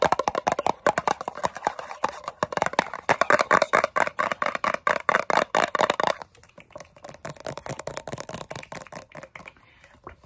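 Long fingernails rapidly tap and scratch the lid and bottom of a large round blue metal Nivea Creme tin (382 g) held close to the microphone. The result is a fast, dense stream of short, dry metallic clicks and scrapes centered in the midrange with bright edges. After about six seconds the taps become quieter and thinner.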